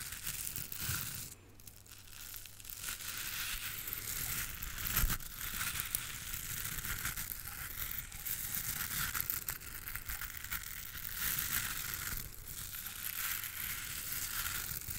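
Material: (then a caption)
Natural bristle. Long pink nails scratch and rub across the dense, pale natural bristles of a round, palm-sized dry body brush with a cream-and-green base, held close to the microphone. The result is a steady, bright, crackling scratch-and-rustle with a faint low hum underneath, swelling slightly in places.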